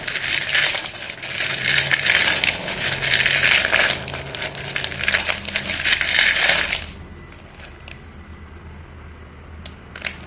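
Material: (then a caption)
Chalk. Chalk-dusted hands rub and stir a pile of solid white chalk sticks in a dark bowl and pick up sticks, making a dense, bright clattering and scraping for about seven seconds. The sound then drops to a quiet background with a few sharp, isolated clicks near the end.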